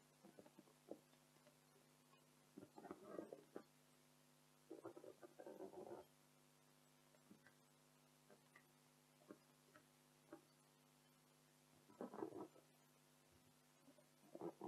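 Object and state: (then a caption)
Latex balloon. An inflated pink latex party balloon printed with "Joyeux Anniversaire," hollow and air-filled, is held in both hands while long decorated acrylic nails scratch and tap its surface. Quiet, dry scratching bursts and brief muffled taps sit mostly in the low-mid range and come in clusters over a steady low hum. The longer rubbery scraping spells are separated by short isolated ticks, and each sound dies away almost immediately.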